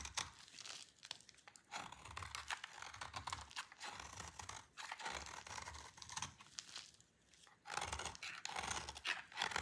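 A utility knife blade shaves and scrapes a solid oval bar of dry green soap held in a hand with long painted nails, and the shavings fall away. The sound is a dense run of crisp, bright, dry crunching and scraping strokes with little low end. It dips briefly near the seven-second mark before resuming louder.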